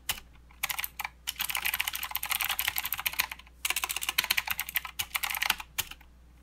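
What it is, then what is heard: Plastic mechanical keyboard with clicky switches. Fingertips of both hands type continuously on a plastic mechanical keyboard with clicky blue switches and plastic keycaps. Rapid, bright, sharp clicks come in dense bursts, with the strongest energy around 2.8 kHz and almost no low end. Each click stops short, and brief pauses separate the runs of typing.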